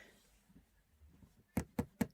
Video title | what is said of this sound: THE WEEKLY WAFFLE EP 62 - BEDROOMS AND BO! | as you can hear that that's quite quite fossilized